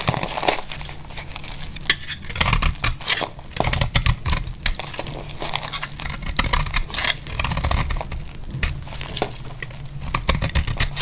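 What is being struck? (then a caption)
Bar of soap scraped with a metal blade. A metal utility blade scrapes and shaves thin flakes off a solid, hand-sized bar of dry green soap held in a hand with long glittery nails. The result is a steady run of dry, crumbly scraping and crinkling with a low rumble beneath bright, crisp shaving bursts.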